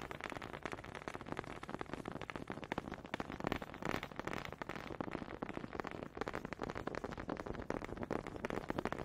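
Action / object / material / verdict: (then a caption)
tap / wooden honey dippers / wood / none. One small, solid wooden honey dipper is rapidly tapped against another close to the mic. The result is a dense, fairly irregular stream of dry, short clicks with almost no ring, carrying a faint woody tone over a crackly texture.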